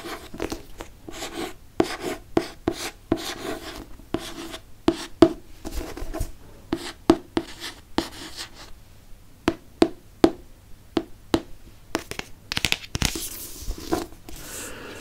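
Fingernails scratch the cover and spine of a hardcover paper book with a moon on its cover, making dry rasping strokes broken by many short, sharp taps and clicks. The sounds sit in a mid-range body around 330 Hz with bright scratchy edges and die away almost at once. Near the end the scratching turns into a denser, brighter hiss.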